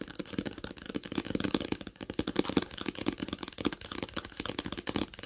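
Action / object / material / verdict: tap / cloth-covered hardcover book / cloth, board / none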